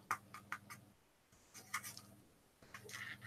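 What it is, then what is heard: Metal medical cast. A metal medical cast or brace is tapped in three short bursts of light, bright clicks with a faint ring, over a steady low hum. The sharp, hard tone confirms that the cast is metal.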